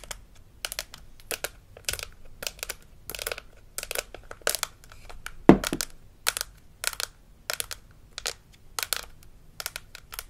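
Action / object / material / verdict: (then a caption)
tap / plastic toy teeth model / plastic / none. A hollow plastic dental model with plastic teeth from a Melissa and Doug Super Smile Dentist Kit is held in the hand while its teeth are tapped and scratched with long acrylic nails. Short bursts of bright, dry clicking and scraping come in quick clusters, with one sharper, louder knock near the middle.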